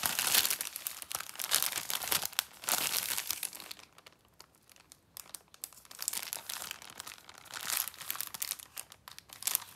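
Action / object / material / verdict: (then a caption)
scrape / plastic film wrapper of a snack multipack / plastic film / none. Fingertips with long painted nails hold, rub and turn over a sealed yellow plastic film multipack of Rocky 8 Caramel chocolate bars, crinkling the wrapper. Dense, bright, crisp crinkles fill the clip, dipping to faint rustles around four to five and a half seconds before swelling again, with almost no low end.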